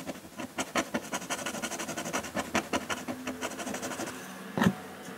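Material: Paper.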